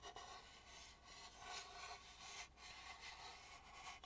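Fingertips and nails rub along the rough, unpainted dark inner back side and edge of a hollow carved wooden mask. It makes a quiet, continuous bright scratching and rasping that swells and fades in strokes.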